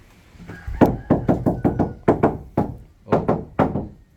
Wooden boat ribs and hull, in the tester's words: Pati kasko. Lagitik pa rin yan.